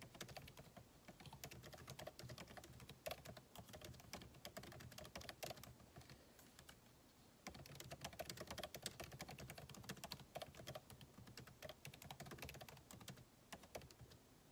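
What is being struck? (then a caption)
Laptop keyboard, plastic keys. Fingertips of both hands type rapidly on a backlit MacBook Pro keyboard with plastic keycaps set in a solid aluminum body resting on a desk. Quick, dry clicks and taps patter steadily with a bright edge, easing into a lighter stretch around the middle before a denser burst of typing resumes.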